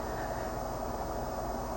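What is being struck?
Nothing is struck.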